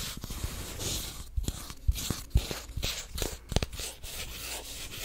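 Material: Plastic.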